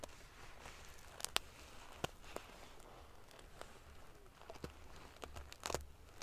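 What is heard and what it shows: Fingernails flick and scratch the rows of silver metal pieces on a large padded metal-sequin fabric pillow. Around a dozen sharp, bright clicks and ticks stand out from a quiet, scratchy rustle over a faint low hum. The clicks stop instantly, with a cluster of quick flicks near the end.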